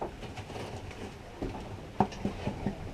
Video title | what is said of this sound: 2015 12 25: La traversée de l'Atlantique | ce qui est important, est-ce que ça sonne creux ? Oui, ça sonne creux. Effectivement, ça sonne creux. Donc le pain est cuit.